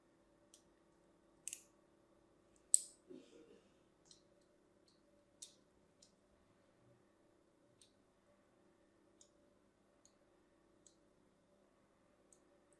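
A hand-sized, solid striped bar of soap is scored again and again with the tip of a fine blade. Sharp, bright scratching clicks sound at uneven intervals against a faint low hum, with one louder cut near three seconds followed by a brief scraping rasp.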